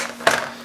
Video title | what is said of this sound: Irish Soda Bread with Chef Frank | when i tap on her she sounds a little bit hollow